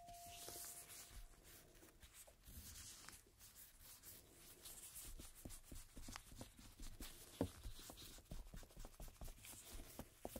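A cotton swab held in a red-gloved hand scrubs and rubs the surface of a single thin coated-cardstock playing card with a black printed back, lying flat on a table. The sound is a quiet, continuous scratchy rubbing with soft dry ticks and faint high hiss throughout. A brief steady tone sounds at the very start before fading.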